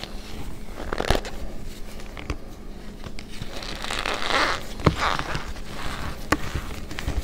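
Hands squeeze, crush and press fingertips and long nails into packed white cornstarch, solid and compressible, in a plastic bowl. This gives soft squeaky crunches and crackly bursts with a few sharper snaps, before the hand moves to pinkish powder at the edge of the same bowl.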